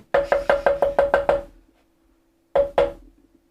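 Someone taps the wooden body of a guitar under construction to show its tap tone. Eight quick, even knocks are followed by a pause and then two more. Each knock gives a short, dry, woody tone centered near 560 Hz that fades quickly.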